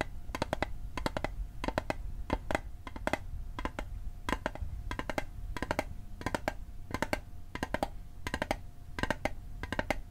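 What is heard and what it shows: A small hollow metal Altoids mint tin, held on its edge, is tapped with fingertips and nails in quick bursts of clustered taps. Each tap is short and dry with a bright clicky edge and almost no ring, over a steady low rumble and a faint constant mid-pitched hum.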